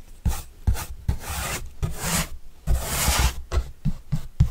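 A soft paintbrush with a red and black handle is brushed across the surface of a large, flat, white corrugated cardboard pizza box with green edges, held upright by hand and hollow and closed. Nine brushing strokes sound as bright, raspy swishes over low, hollow thumps from the box, some long and sweeping, others short and quick.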